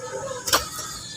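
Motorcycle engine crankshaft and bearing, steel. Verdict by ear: Loose.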